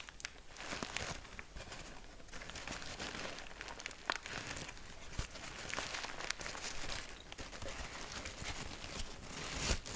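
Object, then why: Sheet of packing paper. A large sheet of grey packing paper is crumpled into a loose ball, squeezed and crumpled in both hands. Dense crinkling and crackling continue throughout, with a few sharper snaps.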